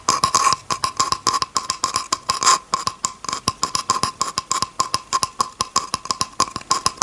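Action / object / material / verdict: tap / bamboo cutting board tapped with a fingernail / bamboo / none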